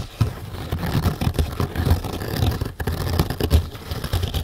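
Long nails rapidly scratch the top surface of a stack of four flat green nylon scourer pads, soft, fibrous and porous, resting on a carpeted table. The result is a dense, continuous run of rough, scratchy strokes with a heavy low rumble and little brightness, pulsing unevenly without clear gaps.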